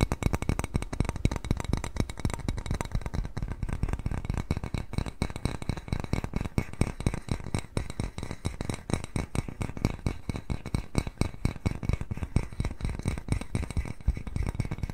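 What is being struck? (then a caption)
Small glazed ceramic bowl. Fingernails tap rapidly and continuously on the glazed surface of a small white ceramic bowl shaped like a cat face, held upright in both hands. The taps are short, dull clicks with almost no ring, mostly low in tone with little bright content, forming a dense, steady rattle.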